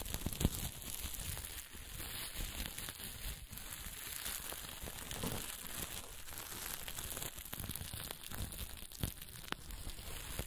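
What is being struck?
Fabric with plastic sequins.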